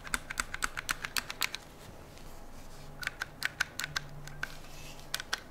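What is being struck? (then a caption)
Rifle with metal receiver and polymer parts. Fingernails tap and scratch the metal receiver of an AR-style metal and polymer rifle, which has a metal handguard and is held on a lap. Quick, sharp, bright clicks come in two bursts, with a soft, quiet scratching stretch between them and a faint low hum underneath. Each tap is dry and stops almost instantly.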